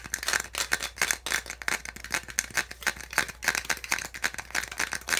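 A small, hollow white molded-plastic packaging insert from a phone or handset box, with ridged slots, is held in the hands. Fingertips and nails tap and scratch its ribs in a fast, irregular stream of bright, dry clicks and rattles. The taps are short and close together, with a steady low hum underneath.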